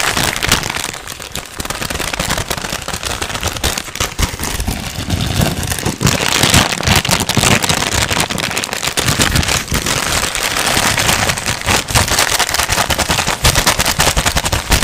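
A single sheet of thin white paper, already crumpled, is held in both hands and crinkled and rubbed with the fingertips. It makes a steady, fast, dense crackle with bright, hissy texture and a low rustling rumble underneath, sustained for the whole clip.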